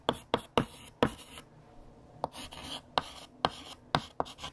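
A hand writes with a light blue chalk stick on a large, flat, solid black chalkboard. Short, sharp scratching strokes tap and scrape in quick bursts with a bright, gritty edge and a quiet pause in the middle. About eleven separate strokes stand out.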